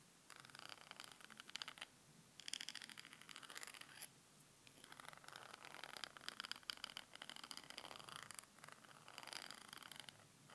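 Long manicured nails scratch and tap along the glittery, textured plastic handle of a slim makeup brush with a pink mermaid-tail end, held close in both hands. The result is quiet, bright, rapid scratching and clicking that comes in bursts with brief pauses between them.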